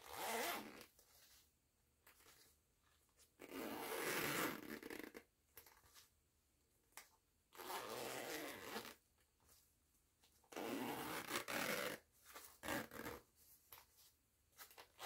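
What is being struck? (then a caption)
Fabric cosmetic pouch with nylon zipper. Fingertips with long nails pull the purple nylon zipper of a small, soft, printed fabric cosmetic pouch back and forth. Long, raspy, bright zipping strokes alternate with quiet pauses filled by softer clicks and scratches of the zipper pull.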